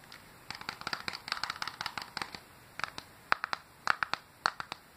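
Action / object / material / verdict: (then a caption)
tap / plastic handheld game console shell and buttons / plastic / none. Fingertips with dark-painted nails tap and click quickly on the shell and buttons of an open, silver plastic Game Boy Advance SP, a small hollow handheld console held in the hand. About two dozen dry, bright clicks come in an irregular patter, each dying away almost instantly. The taps grow sparser and sharper toward the end.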